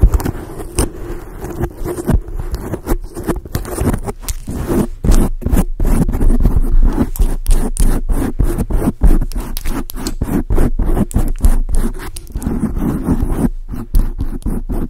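Long acrylic nails scratch and rub a black foam microphone windscreen, producing a close, dense, bassy scraping and crackling. Quick, irregular strokes come in bursts with brief gaps, and the sound is muffled with little brightness.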